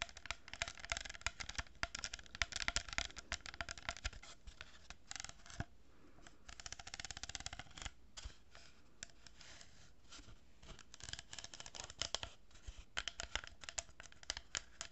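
Long nails scratch and tap a hollow cardboard tube lined with a row of plastic pearl beads, making dense, bright, dry scratching broken up by quick clicks. The sound is quiet throughout and thins out to softer scraping in the middle before the busy scratching and tapping pick up again.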